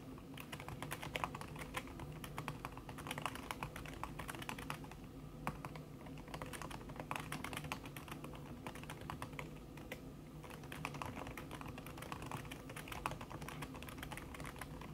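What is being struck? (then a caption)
Laptop keyboard with silicone key cover. Long red fingernails tap fast across a backlit laptop keyboard in a silver aluminum body, its keys covered by a thin red silicone skin. The clip is a steady, dense stream of soft, muffled clicks with short decays and a dull, padded tone, holding an even level for the whole fifteen seconds.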